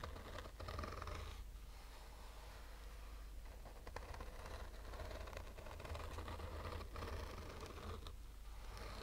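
Short fingernails slowly scratch a black, oval, textured fabric-covered sunglasses case with a rigid hollow shell, held in the hand. Quiet, irregular scratchy strokes run over a steady low hum throughout.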